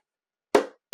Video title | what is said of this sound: “Boat Buyers Need To Hear!” Watch THIS Before You Buy Your Next Boat… | That sound is a bad sound. It's kind of hollow. It's what you want it to be is like you're hitting glass, like a tink, tink, tink.